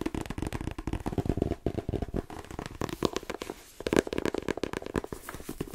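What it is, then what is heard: Paperback book. Fingertips and long painted nails tap rapidly on the glossy card cover and spine of a paperback novel, "The Twins," with a solid paper block. The result is a dense run of short, dry taps with a soft low-mid body. Brighter, sharper clicks from the nails mix in, and the taps stop almost instantly with no ring.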